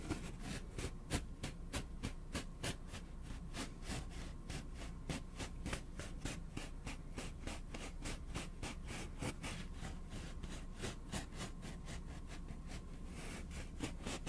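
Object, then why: Cardboard tube. Fingertips rub and tap along a long, hollow, empty brown cardboard tube, roughly forearm length, held in both hands. The result is a steady, irregular stream of soft, dry scratches and quick, short clicks, about three per second, with a dull, low body and brief bright edges.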